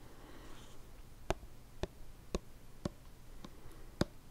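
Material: Plastic.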